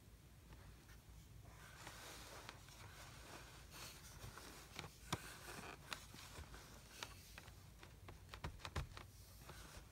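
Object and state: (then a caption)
Kinetic sand in a plastic tray. Both hands press, pat and compact a mound of brown kinetic sand in a blue plastic tray. Soft, grainy crunching and rustling is punctuated by sharp, brief pats that grow more frequent toward the end, over a steady low hum.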